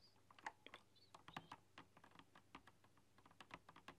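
A retro typewriter-style mechanical keyboard with round chrome-rimmed keycaps is typed on with long dark-polished nails and fingertips. Quick, irregular clicks and clacks come in uneven bursts with sharp, short attacks and a bright tap tone. The typing is soft overall, with a faint low hum underneath.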